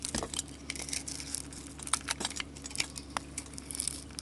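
A solid soap bar with a gold paint and glitter coating is held in the hand and shaved into curls with a flat metal blade. Crisp, crinkly scraping comes in quick, bright bursts over a faint, steady low hum.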